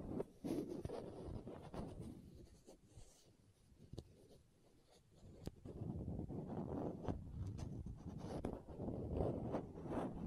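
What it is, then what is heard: Plastic contact lens case. Long nails scratch a small, hollow green and white plastic contact lens case held close to the microphone and twist its screw lids, making dense, rasping scrapes with sharp little clicks. The scratching turns quieter and sparser in the middle, then returns in full, busy bursts.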